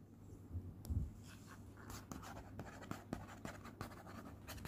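Fingertips and nails quickly scratch and tap across a flat, cream, hand-addressed paper envelope lying on a teal cloth. Soft, dry papery scratching is broken by short, sharp taps with quick bright edges. A steady low hum runs underneath throughout.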